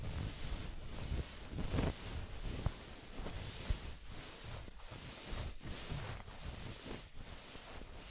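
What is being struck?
Nothing is struck.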